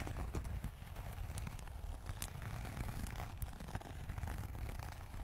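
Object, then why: Leather zip wallet tapped and scratched with fingernails. A closed red textured leather zip wallet is held close to the microphone and tapped and scratched with long acrylic nails. The result is a steady stream of soft, quick clicks and scrapes over a dense, low rumbling body, with brief bright ticks standing out.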